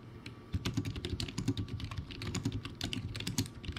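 Fingertips type rapidly on a backlit, poor-quality plastic typewriter-style keyboard with round white plastic keycaps. After a brief quiet start, a dense run of short clacking keystrokes follows, each with a hollow low thud and a bright click that stops almost instantly.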